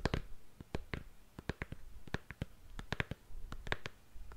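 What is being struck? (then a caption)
Patent leather high-heeled shoe. Long nails tap and scratch along the heel and counter of a single black glossy patent leather stiletto high heel held up in the air. Crisp, bright clicks ring out in quick irregular bursts, each dying away at once, over a soft scratchy rustle and a low rumble.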